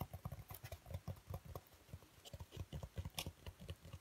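Fingertips tap, squeeze and scratch a thick, hand-sized dark grey foam packing insert with recesses, held in both hands. A quiet, rapid patter of soft, dull, low thumps is heard, with brief, bright, scratchy rustles now and then. Each hit dies away almost instantly.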